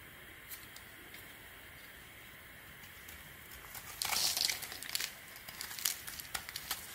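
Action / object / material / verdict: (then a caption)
scrape / bar of soap / soap / none. A blade, held with a bandaged finger, shaves and scrapes the edge and surface of a solid, palm-sized beige Weleda soap bar held in the hand. A quiet, steady hiss with a few faint ticks gives way at about four seconds to louder, bright, crisp scraping and crinkly shaving bursts. These come in irregular strokes until the end.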